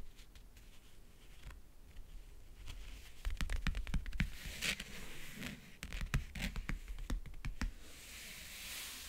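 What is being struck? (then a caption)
Faux leather backgammon case. Fingernails tap along the front edge near the latch and across the lid of a closed, hollow, map-print faux leather backgammon case. The taps come quickly and irregularly as short, dry clicks with a low, hollow thump, mixed with brief scratchy brushes and a soft, bright hiss.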